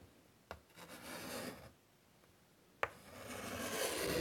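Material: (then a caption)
Chalk. White chalk scratches butterfly outlines onto a large, flat, wood-framed chalkboard. Two sharp taps as the chalk meets the board are each followed by a dry, bright rasping scrape. The second stroke grows louder toward the end.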